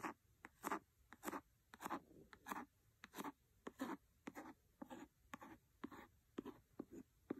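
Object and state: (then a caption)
Cloth-bound hardcover book, scratched. A wooden pencil scratches across the cover of a large, solid, red cloth-covered hardcover book. Quiet, dry, raspy strokes come in an uneven rhythm of short bursts, with a papery mid-range body and bright edges. Each stroke stops dead with no ring.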